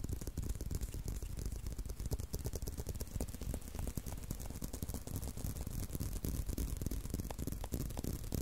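Fingertips and short nails scratch along the strap of a tan leather belt with punched holes, held in a loop. The result is a dense, steady run of quick, dry scrapes and soft taps with a low, muffled body and little high sheen.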